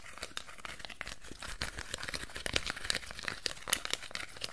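A hand-sized wad of crumpled aluminium foil is squeezed, crinkled and scratched with fingertips and nails. It gives a dense, continuous run of sharp, bright crackles and rustles with no ringing after each snap, mostly in the upper range.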